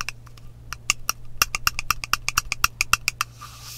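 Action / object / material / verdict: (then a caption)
scrape / frosted glass spray bottle with metal cap / glass / none. Long nails scratch and rub along the side of a partly filled frosted glass mist spray bottle with a metal cap. About nineteen quick, bright, dry ticks and scrapes come in an uneven run, each dying almost instantly over a steady low hum. The clip ends with a soft airy hiss.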